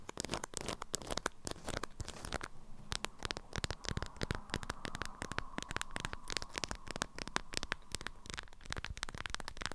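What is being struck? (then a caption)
Beeswax-coated cotton wrap around a small object. Long nails tap and scratch the waxed cotton of an orange-print beeswax wrap folded around a small object, held in both hands. Rapid, dry clicks and crinkly scratching run steadily throughout, with a faint hum near 1 kHz in the middle stretch.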